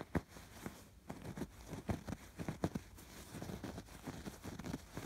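Fingertips and nails scratch over the raised red, pink and blue embroidered stitching of a soft stuffed fabric pillow. Quiet, low, muffled scratches and soft dull taps come in short uneven bursts over a faint steady rustle. Each stroke stops almost at once, with no ring.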